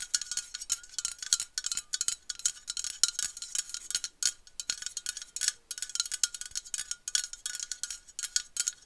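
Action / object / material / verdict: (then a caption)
tap / metal aerosol can / metal / none. Long nails tap and scratch along the body of a dark metal aerosol spray can with a white cap, held upright. The result is a rapid, uneven flurry of many short, bright metallic clicks and scrapes with a faint tinny ring. There is almost no low end.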